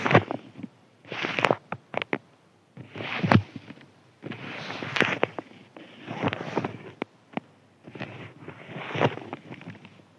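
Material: Paper.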